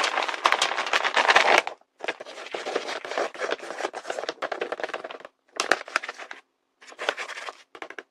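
Fingertips and short, pale-painted nails rub and tap across a large, flat, sealed paper blind bag printed with fruit drawings, a thin, hollow paper envelope held in the hands. Dry, crackly rustling and crinkling comes in uneven bursts separated by short silences, bright and papery with almost no low end.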